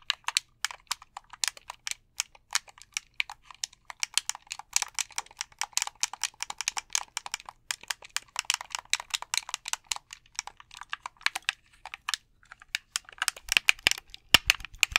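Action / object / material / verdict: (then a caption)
tap / plastic game controller / plastic / none. A white plastic gamepad is held in both hands while fingertips tap its buttons and shell. The result is a steady stream of quick, dry, bright plastic clicks and taps with almost no low end, growing denser and louder near the end.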